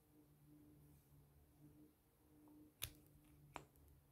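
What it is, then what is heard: Plastic pen. A slim black plastic pen with a metallic band is held in both hands and handled and tapped with long painted nails and fingertips. Faint handling and a low steady hum give way to two sharp, bright clicks with almost no ring.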